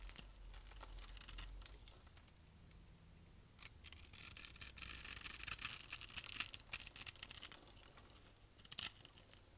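A utility knife scrapes shavings off the crosshatched top of a solid dry brown soap bar held in hand, and the flakes crumble away in the hand. The sound is soft, bright, dry scraping and crisp crumbling. It is quiet at first, swells into a denser run of scrapes in the middle, then trails off into a few sharp crackles.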